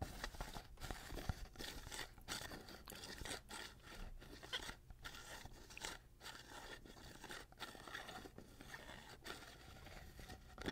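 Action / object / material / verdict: scrape / glass jar with metal lid / glass, metal / none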